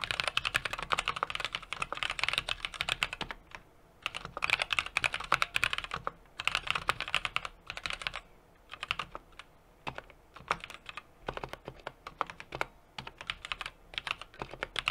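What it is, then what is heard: Mechanical keyboard being typed on. A small 60% mechanical keyboard with an aluminum case, brass plate and plastic keycaps, sitting on a desk mat, is typed on continuously with the fingertips of both hands. The rapid key taps come as dense bursts of bright, crisp clacks with almost no ring and little low end, separated by brief lulls of sparser taps.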